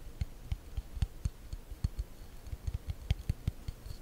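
Long nails tap and scratch the smooth, solid wooden back of a hand-sized hairbrush held close to the mic. About fourteen quick, dry taps land at an uneven pace over a soft scratchy hiss. Each tap is a short, low thump with a faint bright click that dies almost instantly.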